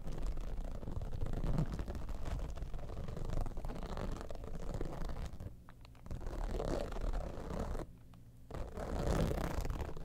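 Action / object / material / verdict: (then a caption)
scrape / textured vinyl zippered pouch / vinyl / none. Long nails scratch rapidly across the top of an iridescent, textured holographic vinyl zippered cosmetic pouch. The result is a dense, muffled, low-heavy rasping that dips into two brief near-silent pauses before resuming.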